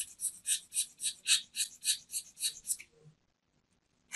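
A metal craft knife scrapes the face and rim of a small, round, solid white soap disc held in the hand. About eleven quick, evenly spaced strokes make bright, hissy scraping sounds with no low end. A short silence follows before another scrape begins at the very end.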